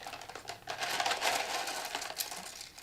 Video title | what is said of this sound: T.SKIES DIGGING DEEP I Discussion with Turquoise Expert Dayton Simmons | duller thud i mean it's still a rock it's not going to break your teeth if you bit into it but that is not nearly as hard